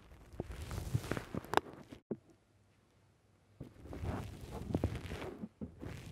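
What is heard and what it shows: Fingers squeeze the side of a black foam windscreen on a microphone, then a fingertip presses the top of the foam. Close, muffled crackling and crunching rustles with soft low thumps fill the start, stop for about a second and a half of near silence, then return in a second dense stretch of squishing.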